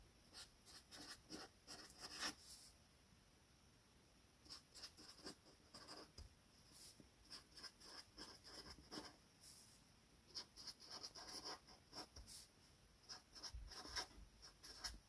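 A felt-tip metallic marker, held by a hand with red nails, is rubbed across a flat sheet of white paper on a table while writing names. Quiet, bright, scratchy writing strokes come in bursts, with a pause of a couple of seconds near the start. Each stroke stops almost instantly with no ring.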